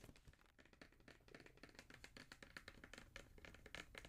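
Fingertips and nails tap rapidly on a black Jordan cardboard shoe box, which is then turned over. The result is a dense run of quiet, dry taps and clicks with short ringing and a bright resonance around 1.7 kHz over a soft low thump.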